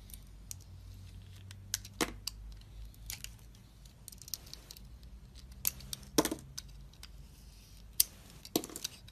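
A box-cutter blade shaves a solid rectangular DURU soap bar with a red metallic coating, held in the hand, revealing the white soap underneath. Short, bright scraping and crackling ticks come at irregular intervals over a faint low hum, with a few sharper cuts standing out.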